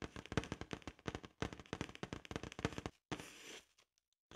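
Long acrylic nails tap rapidly across the surface of a large, hollow, inflated blue latex balloon, making a quick run of short, dull, thumping ticks for about three seconds. After a brief pause, the nails scratch the surface in a soft, bright, hissing rub, followed by near silence with a few faint clicks.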